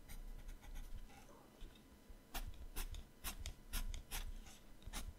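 A yellow colored pencil shades with rapid strokes on the right page of an open paper sketchbook. Quiet rubbing gives way to bursts of scratchy, bright strokes in quick succession, with pencil rubbing on paper.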